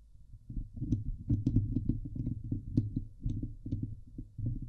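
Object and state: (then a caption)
Metal mesh microphone grille being scratched. Long painted nails scratch the hollow woven steel mesh dome grille of a Blue Yeti microphone. The result is a dense, low, throbbing rasp centered near 110 Hz, with rapid scraping strokes and occasional brief bright ticks. It continues in uneven surges with no pauses.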